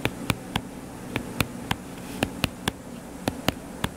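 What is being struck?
Closed hardcover paper book.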